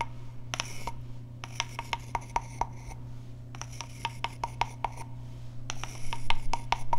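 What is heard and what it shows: A small hollow carved wooden frog guiro has its ridged back scraped with a wooden stick and is then rubbed by hand. The result is a quick, uneven run of short, dry, woody clicks and rasps with a slight hollow ring, set over a steady low hum.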